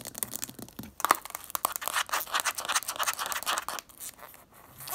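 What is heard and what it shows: Long acrylic nails tap and scratch the label and black plastic lid of a tall, full plastic jar of purple bath salts as the jar is held and tilted. The result is a fast, dense run of sharp, clicky taps mixed with dry, bright scratching rasps, with no low end and almost no ring after each tap.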